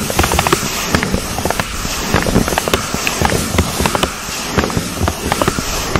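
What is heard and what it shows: A brown pleated paper cupcake case, thin and hollow, is fitted over a foam microphone windscreen and scratched and tapped with long acrylic nails. Rapid, crisp, crackling taps and papery scratches come close together over a steady rustling bed with a dull low thump beneath. Each tap is short and bright, with no lingering ring.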